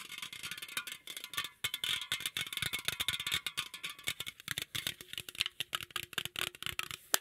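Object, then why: Aluminum drink can. A green aluminum drink can, moved close and then held out toward the microphone, is tapped and scratched by fingertips and nails. The result is a fast, irregular run of sharp, hollow, bright clicks and scrapes with almost no low end. A faint steady tone hums underneath in the second half.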